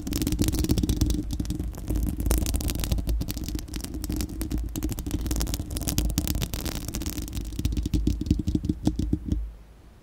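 Long acrylic nails on both hands scratch across a bare, round, hollow-dome steel-mesh microphone grille. The result is a dense, rapid, rasping clatter over a heavy low rumble, with a steady hum-like band around 300 Hz. The scratching stops abruptly just before the end, leaving near-silence.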